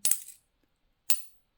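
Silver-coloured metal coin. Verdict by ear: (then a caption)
Fake. A fake silver Eagle coin, confirmed fake by a testing machine and by its wrong 39.9 mm diameter, is tapped twice in a ping tester holder. Each tap gives a short, bright, dull thud that dies away almost at once instead of ringing.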